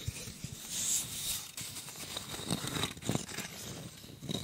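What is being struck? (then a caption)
Bundle of wooden craft sticks. A hand-sized, solid flat block of colored wooden popsicle sticks, held together with a paper tape strip, is scratched with fingernails close to the microphone. Dry, bright scratching and rasping comes in short bursts with quick taps and crinkly crackles, each dying away almost instantly, over a soft low rumble.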